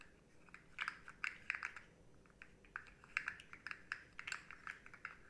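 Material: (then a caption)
Plastic. Long nails tap and scratch a rainbow, segmented, hard plastic articulated slug fidget toy with hollow segments, bending it so the segments click. The result is a quiet, irregular series of sharp, dry, bright clicks and taps that stop instantly, with soft scratching in between and almost no low end.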